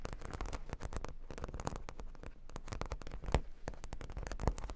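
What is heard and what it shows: Long nails scratch quickly over plastic faux-pearl beads covering a square cork board, heard up close. The result is a dense run of short, crackling clicks and rattles with a heavy low-end thump underneath and sharper peaks standing out near the end.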